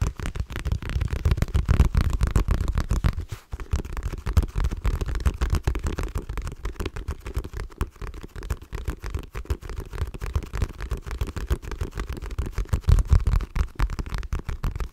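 A black Kate Spade wallet of textured leather with a floral print and a brown edge is held close to a microphone and rapidly tapped and scratched with long nails. The result is a dense, continuous patter of soft, muffled taps and scratches with a heavy low-end thump and little brightness, briefly pausing around three and a half seconds before resuming.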